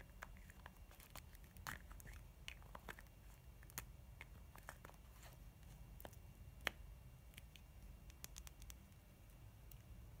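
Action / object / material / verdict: tap / plastic lip balm sphere / plastic / none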